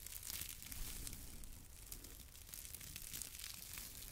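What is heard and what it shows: A small yellow porous foam sponge held in the palm is squeezed and rubbed by fingers close to the mic. It produces a steady, soft crinkling and crackling texture with bright, airy high-end hiss. Underneath is a low rumble, with no distinct separate hits.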